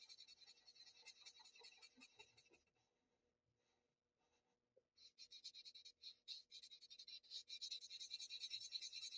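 The pointed tip of a paper blending stump rubs small, quick strokes into graphite shading on a flat sheet of Bristol paper, making dry, bright, scratchy swishes. The rubbing stops briefly near the middle, then resumes in denser and louder rapid strokes through the end.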